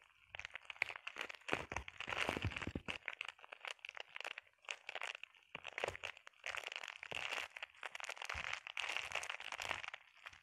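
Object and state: Plastic bubble wrap.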